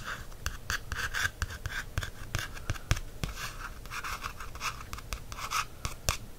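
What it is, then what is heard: Paperback book tapped and traced. A fingertip traces and taps the printed matte black cover of a small black softcover paperback book, a solid paper block held in hand. Dry scratching strokes mix with a quick series of short, sharp taps over a low, steady background rumble.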